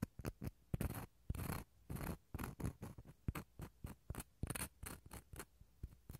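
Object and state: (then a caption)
Dried gourd shell half scraped inside. The inside of a small, empty, hollow half of a dried gourd shell is scraped with a wooden toothpick, giving about 22 separate bursts of dry scratching at an uneven pace. The strokes mix short ticks with longer rasping pulls, each with a hollow low body and a faint bright edge.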